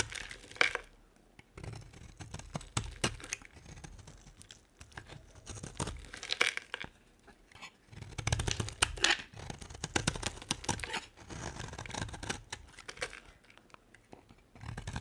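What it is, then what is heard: Dry bar soap being carved. A solid white dry soap bar, already partly carved, is cut and scraped with an orange utility knife blade. Crisp, crumbly scraping and tearing rasps come in uneven bursts, bright and dry with a low thump beneath and very little ring between strokes.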